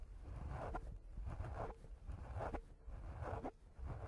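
Fingertips of one hand rub and scratch a round, soft, porous black foam windscreen on a handheld recorder. Close, muffled scratching comes in repeated swishing strokes about once a second over a heavy low rumble, with almost nothing bright on top.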